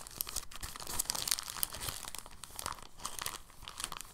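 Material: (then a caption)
Plastic. A clear, thin, soft plastic bag is rolled, unrolled and stretched by hand, giving a steady, dense run of soft crinkling. The crackles are bright, with quick small peaks and no ring-out.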